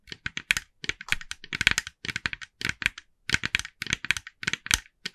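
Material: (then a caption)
Plastic. Long nails of both hands tap rapidly on the face of a hand-sized, hollow, glossy orange plastic jack-o'-lantern decoration. The result is quick bursts of bright, dry, clicky taps with almost no ring, separated by short pauses.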